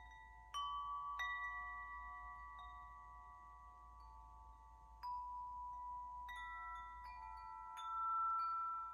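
A hand-held wind chime of several long, hollow, dark patterned metal tubes hanging from a top ring is held up in one hand while the other strikes and shakes the tubes so they ring against the central clapper. Three main strikes set off clear, sustained metallic tones centred around 1.3 kHz with bright overtones, overlapping and slowly ringing out. A faint low hum sits underneath throughout.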